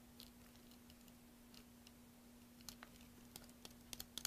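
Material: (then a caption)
Soap. A metal blade scrapes and carves a solid green soap block, partly carved and held in one hand over soap shavings. Quiet, crisp scraping gives way to a series of short, sharp, bright shaving snaps that grow louder toward the end. A steady low hum runs underneath throughout.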